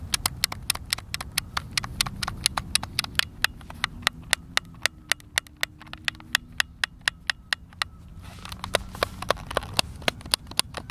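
A white, hand-sized, hollow plastic Xbox controller with buttons is held in both hands over a wooden picnic table outdoors while fingertips and thumbs repeatedly press and click its face buttons and sticks. A steady stream of sharp, bright, dry clicks with almost no ring sounds over a soft, low outdoor rumble.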